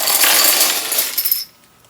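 A full sixth parts bag of plastic LEGO pieces from the 2023 LEGO Super Mario Piranha Plant set 71426 is shaken. The pieces inside give a dense, bright rattling and clinking for about one and a half seconds, then stop abruptly. The bag sounds full.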